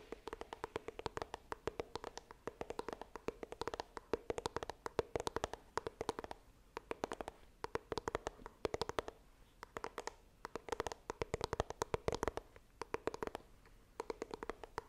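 Long nails tap rapidly on the front of a small, hollow white iPhone retail box made of coated cardboard, held upright. The result is quick, dry clicks over a hollow mid-pitched resonance near 445 Hz, coming in dense bursts with brief pauses between them.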